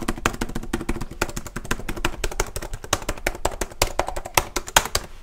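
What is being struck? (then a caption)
Plastic laptop keyboard keys. Fingertips type and tap quickly on the keys of a black plastic HP laptop keyboard held tilted, producing dense, sharp clicks. Around thirty quick, dry taps sound with short bright transients over a low, steady hum. Each tap dies away almost at once.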